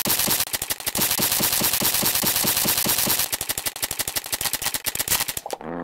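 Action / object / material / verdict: shake / plastic coil spring toy / plastic / none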